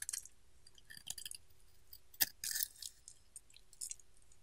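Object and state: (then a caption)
Bar soap being carved. A solid pink bar soap is handled and carved along its edge with a metal utility knife blade, leaving pink shavings piling up. Soft, bright, crisp scraping and crunchy slicing sounds come in short bursts, with one sharp click near the middle, over a quiet background.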